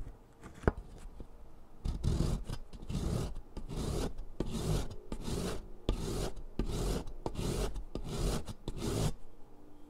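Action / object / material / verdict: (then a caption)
scrape / chalk stick on a perforated metal foot file / chalk / none. A solid green sidewalk chalk stick is rubbed back and forth by hand across the perforated metal surface of a purple foot file resting over cardboard, leaving a pile of green dust. After a quiet start with a sharp tap, a steady series of gritty, low rasping strokes follows. The strokes fade back to quiet at the end.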